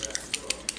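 An Urban Decay Naked Skin foundation bottle in shade 3.5 is shaken so the mixing ball inside rattles, like a paint can. Several quick, bright, high-pitched clicks ring briefly over a faint background hiss.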